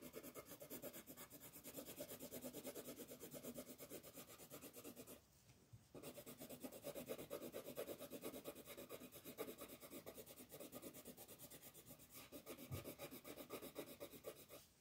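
A yellow colored pencil is rubbed back and forth across a thin, flat paper coloring page, shading in the sun while the other hand holds the sheet down. A steady, dry, scratchy rasp of quick strokes runs throughout, pausing briefly about a third of the way through before resuming.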